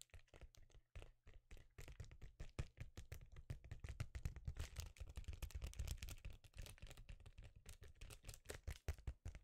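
A thin, flexible, rectangular sheet of reflective metallized foil bubble insulation, about tablet size, is held up in both hands and tapped and scratched with fingertips and nails. Quiet, rapid, dense taps blend with light scratching, giving soft, dull thumps with a low, muffled body and very short decay. The tapping runs almost continuously and grows slightly busier and louder after the first two seconds.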